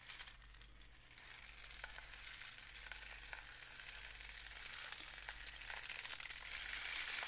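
A long, hollow cardboard rain stick painted with suns and dots, one end wrapped in mesh and loose filling inside, is held in both hands and tilted so the filling trickles through. It makes a dense, bright, sizzling hiss of tiny patters over a faint steady low hum, slowly growing louder toward the end.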